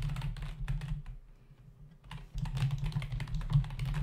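Fingertips of both hands rapidly tap the hollow keycaps of a black plastic membrane desktop keyboard, making quick, dull, low-pitched clicks with very short decay. The typing thins to a near pause for about a second in the middle, then resumes as a denser, louder run of taps.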